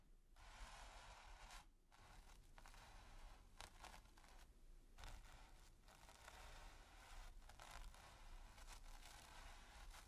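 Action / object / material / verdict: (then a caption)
scrape / bristle brush on textured primed canvas / canvas / none. A stiff bristle brush is scrubbed and scratched across a flat, taut, textured primed canvas. It makes a steady, dry, bright rasping scrape with a low rumble underneath, broken by a few short pauses between strokes. The scratching keeps going at a fairly even, quiet level for the whole clip.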